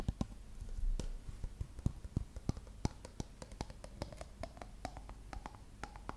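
Long nails tap and scratch the body of a dark plastic shampoo bottle with a gold label, held sideways. A rapid, irregular run of short, sharp clicks rises above a soft, low rustling bed, each tap dying away almost instantly. Toward the end a faint tonal ring starts to come through under some of the taps.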